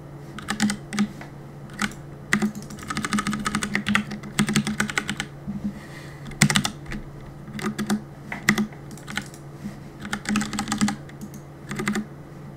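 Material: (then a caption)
Plastic. Fingertips tap the plastic keycaps of a black mechanical keyboard in quick, uneven bursts of sharp, bright clacks separated by brief pauses. Each keystroke is short and dry, and a steady low hum runs underneath throughout.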